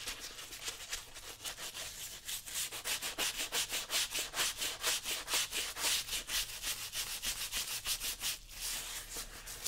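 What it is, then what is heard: Leather work boot being scrubbed with a brush. A brown leather work boot, worn on a foot and covered in soapy lather, is held steady by one hand and scrubbed with a small wooden-handled bristle brush. Rhythmic rubbing strokes repeat roughly twice per second as bright, high-pitched, hissing swishes with almost no low end, briefly pausing near the end before resuming.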